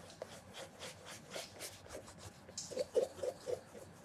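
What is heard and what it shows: A red cloth wrapped on the fingertips rubs in circles over the glossy upper of a hollow black leather penny loafer with a leather sole and stacked heel, held on its side. Soft, airy swishes repeat at a steady pace, and near the end four louder, squeaky rubs stand out with a mid-pitched tone around 520 Hz.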